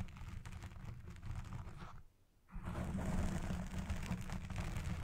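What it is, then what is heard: Foam microphone windscreen being scratched. A black foam microphone windscreen is scratched on its side and top with long red nails and fingertips. The result is a dense, rumbling scratch with heavy low-end crackle that drops to near silence for a moment around the two-second mark. It then returns louder and fuller.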